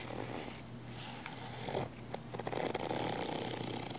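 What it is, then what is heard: Nylon fabric camera case scratched. Long nails scratch the surface of a small black padded nylon fabric camera case, a hollow case. The result is a dry, rustling scratch with a steady low hum underneath and brief bright ticks that grow denser and louder toward the end.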